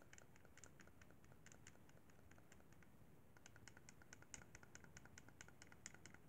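A white plastic Xbox 360 controller, a hollow handheld held in both hands, as fingertips tap and press its face buttons. A quick run of light, dry plastic clicks with bright, short attack comes over a low, steady hum, with a brief lull just past the three-second mark before the tapping resumes.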